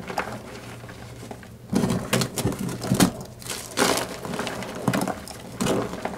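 Pink rubber-gloved hands squeeze and crush several solid pink-white blocks of gym chalk (magnesium carbonate) in a pink plastic bowl, pressing with fingertips and palms. After a quiet stretch of faint crackling, dry, gritty crunching bursts recur through the clip over a faint low hum. The blocks crumble into chunks and powder.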